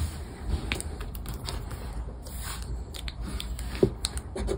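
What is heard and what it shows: A round black plastic scraper rubs the coated panels off a flat paper scratchcard lying on a wooden tabletop. The repeated scratching strokes make short, dry scraping bursts over a low, steady rumble, with one sharper scrape standing out near the end.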